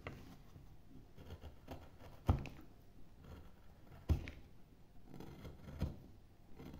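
A wide metal gouge with a wooden handle shaves and scrapes a carved hollow in a pale, solid wooden carving blank while fingertips steady the board. Soft, low, dull scraping runs throughout, with three sharper, louder cuts standing out. Each cut dies away almost at once.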